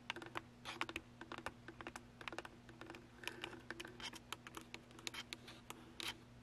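Long acrylic nails tap and scratch the top and sides of a hollow plastic Canon DSLR camera body with its lens attached, mounted on a small tripod and seen in a mirror. Dozens of quick, dry, bright clicks and short scratchy rasps land in an uneven run, each dying away almost at once. A faint, steady low hum sits underneath.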